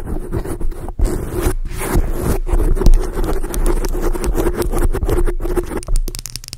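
Long acrylic nail tips scratch across a black foam microphone cover, producing a dense, continuous scratchy rustle with a heavy low-end rumble. The texture is broken by a few brief near-silent gaps as the nails lift and resume.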